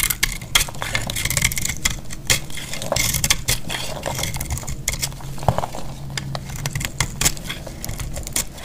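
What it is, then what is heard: Dry bar soap. A solid, very dry cream-colored bar of soap held in the hand is cut with a metal utility blade. A steady run of crisp, bright crackling and scraping snaps comes with low dull knocks as crumbly chunks break off. Each snap ends almost instantly.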